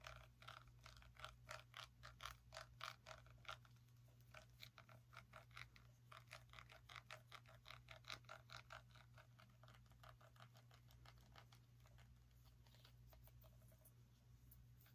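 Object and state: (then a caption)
Small pumpkin. A small orange pumpkin with a stem is tapped and scratched with long nails, producing quick, dry clicking taps in rapid irregular bursts. The taps fade slightly toward the end over a steady low hum.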